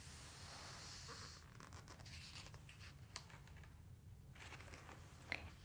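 Fingers grip and flip a glossy page of a large open dinosaur book, then palms rub flat across the spread. Soft, bright papery rustles and scratchy swishes sit over a steady low hum, with a couple of brief, sharper crisp ticks standing out.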